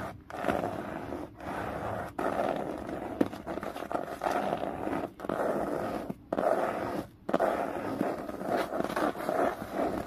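Long fingernails scratch along the spine and cover edge of a thick hardcover book lying on its side. The result is a steady, dry, raspy scraping in long strokes, separated by brief pauses, with a mid-range body and a bright, crackly texture on top.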